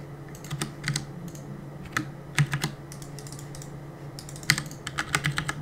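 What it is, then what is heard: Plastic mechanical keyboard. Fingertips press and tap the plastic keycaps of a black plastic CM Storm mechanical keyboard on a desk while gaming. The result is a run of irregular, quick, bright clicks that stop short, some grouped in fast bursts and a few louder than the rest, over a steady low hum.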